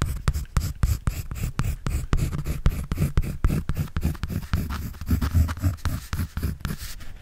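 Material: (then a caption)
Paper. A pencil scratches and draws on a white paper sketch pad held by hand. Quick, uneven strokes repeat throughout, each a short, dry scratch with a dull, low-heavy body and almost no ring.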